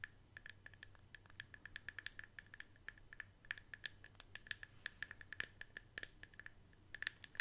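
Long acrylic nails scratch and tap the side and flat bottom of a hollow white plastic Elemis cosmetic jar with a lid. The result is a quiet, rapid, irregular run of sharp, bright clicks with a faint hollow ring around 1.7 kHz and light scratching between taps, over a soft low hum.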